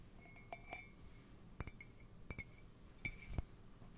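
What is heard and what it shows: Fingernails tap and scratch on the body and rim of an empty, hollow white ceramic mug. The result is a quiet series of sharp, bright clinks, some leaving a brief ringing tone near 2.3 kHz with higher shimmering overtones, over a faint low background hum.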